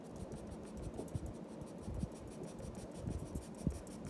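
A black pencil's graphite tip makes short scratching strokes across a flat sheet of white drawing paper on a wooden desk while shading a lioness's body. The sound is a soft, continuous low rasping scratch with a few slightly louder strokes standing out.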